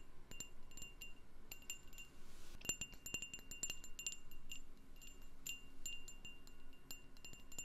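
A candle in a jar is tapped as an ASMR trigger, giving a quick run of light, bright ringing ticks over a soft low rumble. The taps come in irregular clusters with short, clear tones that die away almost at once, and a brief hiss sits in the middle.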